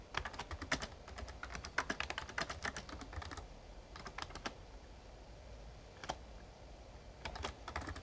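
Fingertips type continuously on a Razer Ornata Chroma, a full-size backlit plastic membrane (mecha-membrane) gaming keyboard. Bursts of soft, quick key clicks with bright, short transients come in rapid runs, pause near the middle, then resume. There is a low background rumble underneath.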